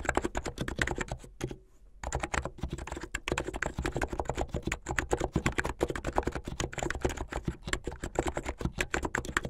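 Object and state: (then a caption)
Plastic mechanical keyboard. Both hands type fast with their fingertips on a white and blue plastic mechanical keyboard with LED underglow. It makes a dense stream of short, clacky keystrokes with a deep thocky body and almost no ring. There is a brief pause near the two-second mark before the steady typing resumes to the end.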